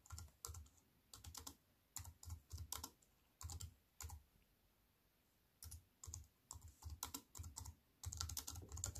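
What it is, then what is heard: Aluminium and plastic keyboard being typed on. Two hands with long white nails type on a compact aluminium and plastic wireless keyboard resting on a wooden table. Quick bursts of keystrokes alternate with short pauses, each press giving a low, soft thud with a bright, crisp click on top. The clicks end almost instantly with no ring.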